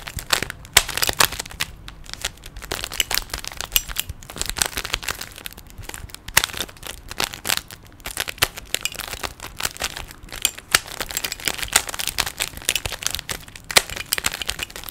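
Fingertips twist the layers of a small, hollow plastic 3x3 Rubik's cube with stickers. The result is a steady stream of rapid, sharp, bright plastic clicks and crinkly scraping with almost no low end. Each click dies away almost instantly.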